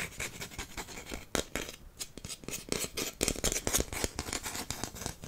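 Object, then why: Wooden incense holder. A long, flat, solid wooden incense holder with brass star inlays is held in one hand and tapped quickly with fingertips and nails. The result is a rapid, irregular stream of short, dry clicks and light scratchy ticks, bright and crisp with almost no ring after each hit.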